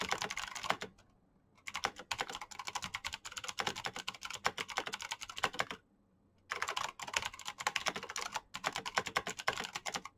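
Fingertips type fast on the keycaps of a black plastic mechanical keyboard with clicky switches. A dense stream of short, bright clicks decays almost instantly, broken by two brief pauses.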